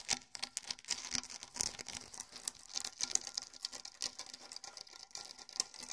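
A pair of small rawhide bongo drums, pale hide heads stretched over hollow shells, is scratched across both heads with fingertips and nails. The result is a quiet, dense patter of dry, bright scrapes and ticks with almost no low body and no ringing drum tone.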